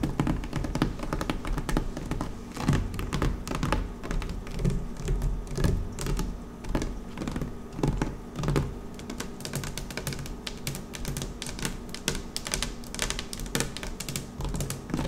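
Long nails tap and scratch across a flat dark blue woven PVC placemat on a table. The result is a steady stream of quick, irregular clicks with a soft, low-heavy thud and brief bright scratchy edges. Each tap dies away almost at once.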